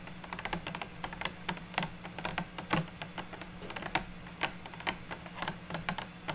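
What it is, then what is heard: Clear plastic box of wood slices tapped with nails. Long natural fingernails tap on the top and sides of a small clear rigid plastic box of stacked wood slices resting on a table. The taps come as quick, light, bright clicks in an uneven patter, each dying away almost at once, over a faint steady low hum.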